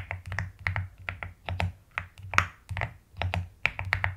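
Fingernails tap and type quickly on the plastic keycaps of a white and pastel mechanical keyboard. The result is a rapid, uneven run of short, crisp clacks, each with a deep, rounded thock underneath and a brighter click on top. Every keystroke dies away almost at once.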